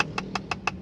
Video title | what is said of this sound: NYETIR XPANDER ULTIMATE 2023 GREY - PART 2 | kelihatannya kan kokoh gitu ya, tapi tuh kayak kopong gitu